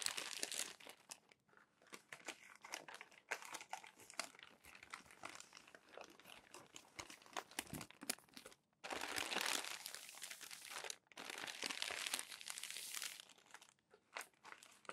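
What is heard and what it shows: A hand flips and flattens the wrinkled pages of a crumpled glossy paper magazine, producing quiet, bright crinkling with rapid, irregular crackles. Two longer, denser bursts of rustling crinkle come in the second half before it settles back into scattered light crackles.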